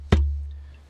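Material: Concrete.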